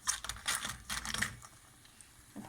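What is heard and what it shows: Freshly deep-fried cornflour vada from a finished batch are handled, giving seven bright, dry crunches and crackles, mostly high-pitched, clustered in the first second and a half. A quiet pause follows, then one last soft crunch at the end, showing how crispy the vada are.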